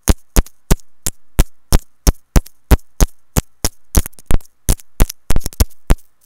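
Long nails and fingertips tap and scratch a small white hollow plastic inline mic remote on a looped earphone cable. The result is a quick, uneven run of close, dry taps with a deep thump under each and bright clicky edges. Some taps land in quick doubles and clusters.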